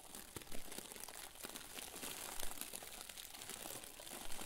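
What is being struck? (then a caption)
Plastic bag filled with fluffy stuffing. A round white plastic bag full of soft, fluffy stuffing is squeezed and pressed with the fingers. It makes a steady, dense crinkling with a bright rustle on top and a few louder crunchy bursts under soft low thumps.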